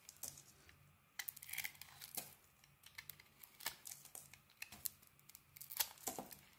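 A palm-sized, solid mint-green bar of soap with a translucent yellowish core is held in the hand and carved and scraped with a metal blade. It makes quiet, crisp, bright scraping and crumbling sounds in a rapid series of short strokes, over a faint low steady hum.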